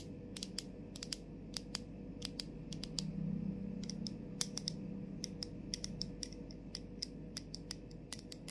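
Long pointed nails tap and scratch the label area and clear plastic cap of a plastic body mist bottle with a "LOVE always wins" label, held in both hands. Quick, irregular, sharp clicks with a bright edge die away instantly. Beneath them runs a steady low hum with a soft scratching texture.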